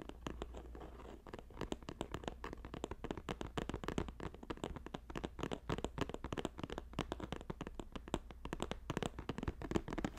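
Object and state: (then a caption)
Woven plastic basket. Fingertips and nails on both hands rapidly tap a green woven plastic-strip basket, making a dense, continuous stream of quick, dry clicks and light scratchy taps. A faint steady low hum runs underneath.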